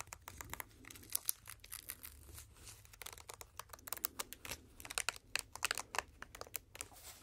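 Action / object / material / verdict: scrape / silicone cleaning mat / silicone / none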